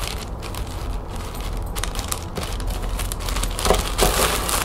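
Long painted fingernails scratch and tap a folded lime-green plastic shopping bag lying on a table. The result is a steady, rapid, somewhat irregular crinkling and crackling of plastic with bright, scratchy highs over a low, dull rumble. The sound swells a little louder toward the end.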